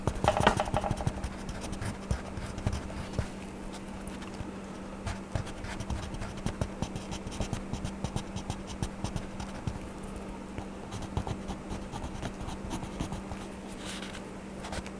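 A hand scratches a blue wax crayon back and forth across a paper coloring book page resting on a table, making a dense, dry scratching with many small sharp ticks. A steady low hum runs underneath throughout.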